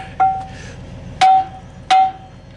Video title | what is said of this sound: What Are The Yellow Things For??? | If you hear a hollow sound, then you know that they're released.